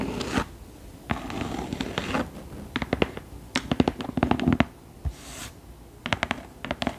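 Long nails scratch and tap the embossed front cover and inset medallion of a thick hardcover book lying flat. Soft, raspy scratching strokes alternate with bursts of quick, sharp, dry taps that stop dead with no ring.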